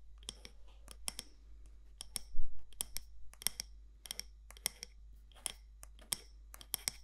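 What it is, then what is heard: Candle jar tapped with fingernails. Long nails tap the side walls of a medium matte black candle jar with a gold lid, possibly glass or ceramic, in an irregular run of sharp, bright clicks that stop almost instantly. A steady low hum sits underneath throughout.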